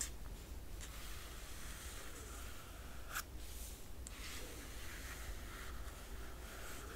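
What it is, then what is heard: Glossy paper book dust jacket being scratched. Long nails trace and scratch across the glossy paper dust jacket of a large hardcover art book lying flat. The result is a quiet, steady papery rubbing with a few brief, brighter scratches, all over a constant low hum.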